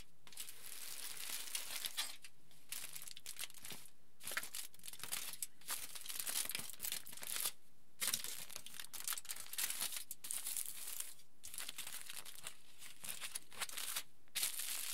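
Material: Aluminium foil.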